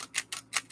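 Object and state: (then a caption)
Plastic book page, clicking. Plastic pages of a handmade chunky book are handled and tapped, giving five quick, bright clicking taps. Each tap is dry and short, with almost no ring and no low-end body.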